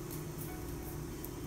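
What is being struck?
Nothing is struck.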